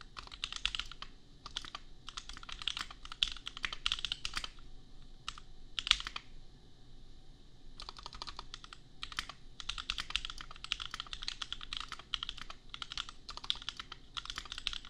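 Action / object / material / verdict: tap / mechanical keyboard with plastic keycaps / plastic / none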